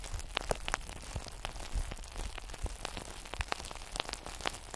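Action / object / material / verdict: tap / solid glass sphere / glass / none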